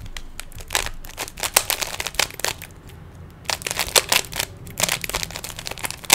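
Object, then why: Plastic puzzle cube. Fingertips twist the layers of a small, hollow plastic 3x3 Rubik's cube, producing quick, bright plastic clicks and clacks. The clicks come in two busy flurries separated by a short quieter stretch around the three-second mark, with each click dying away almost instantly.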